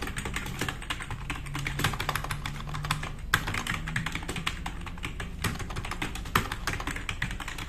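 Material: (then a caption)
Plastic. Fast typing with the fingertips of both hands on a black RGB-backlit tenkeyless plastic mechanical keyboard with plastic keycaps, resting on a wooden desk. A rapid, continuous stream of crisp, clacky keystrokes with bright clicks and quick decay, plus occasional louder key strikes. A faint low hum runs beneath.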